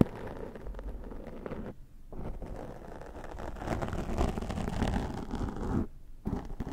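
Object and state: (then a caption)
Foam microphone windscreen being combed. A plastic fine-tooth comb held in the fingers scratches and combs down the top of a black foam windscreen on a Zoom microphone. The sound is a dense, muffled, low-heavy scratching and rasping that grows louder toward the middle of the clip. It breaks off in two brief pauses, around 2 and 6 seconds in.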